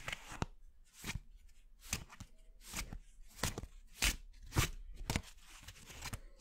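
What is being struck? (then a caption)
Paper playing cards. A full deck of thin coated-paper playing cards, held in both hands over a wooden board, is riffled and shuffled by the fingertips. The cards flick against each other in eleven quick, irregular papery bursts with bright crisp edges and a soft low thump beneath. Each snap dies away almost instantly at a quiet overall level.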